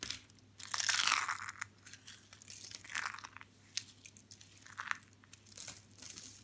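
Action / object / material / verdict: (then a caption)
scrape / dry soap shavings / soap / none. Hands grab a handful from a pile of thin, curled white and blue dry soap shavings and crush and crumple the brittle, thin, solid flakes between their fingers and in a fist. The result is bright, dry crunching and crackling in irregular bursts, loudest near the start and then coming in shorter crinkly clusters over a faint steady low hum.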